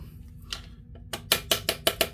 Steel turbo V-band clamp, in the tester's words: you can still hear it moving when you tap it